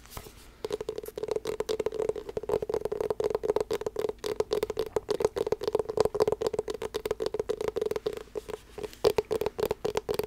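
A closed, small, hollow blue hard-shell glasses case with a rubber coating is tapped and scratched with long black nails. It gives a rapid, uneven run of soft clicking taps and scratches over a steady hollow resonance around 420 Hz. Each tap dies away almost instantly, with little low end.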